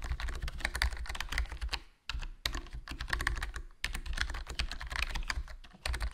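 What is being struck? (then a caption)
Plastic membrane keyboard. Fingertips type continuously on a HyperX Alloy Core RGB plastic membrane gaming keyboard with a foam mod, black plastic body, black plastic keycaps and a hollow case. The result is a steady stream of soft, quick clacks with a strong low thump and bright tops peaking around 1.8 kHz. Each keystroke dies out almost at once, and the typing is broken by short pauses near 2 and 3.8 seconds.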